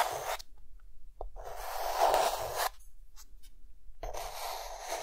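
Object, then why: Chalk stick on a chalkboard. A hand draws circles with a white chalk stick on a solid, flat, dark green chalkboard, producing dry, gritty chalk scratching and tapping on the board. A short stroke opens the clip, followed by a sharp tap near 1.2 seconds and a long, loudest scratching stroke that runs to about 2.7 seconds. After a quiet pause with a few faint ticks, another scratching stroke begins at 4 seconds and continues to the end.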